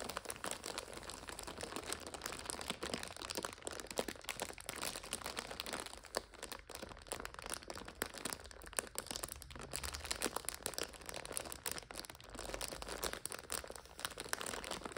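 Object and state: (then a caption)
Plastic-wrapped noodle multipack being crinkled. Two hands with long nails press and scratch the clear plastic overwrap of a full purple 5-pack of instant noodles. The result is a continuous stream of dense, bright crinkling and crunching with no pauses, steady throughout the clip.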